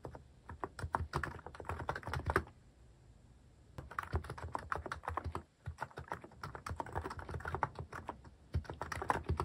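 Fingertips type steadily on a cream plastic-case mechanical keyboard with cat and paw-shaped plastic keycaps, pressing the keys repeatedly. The key presses are short, dry clacks with a deep, thocky body and little brightness. A brief pause around the third second breaks up the otherwise continuous typing.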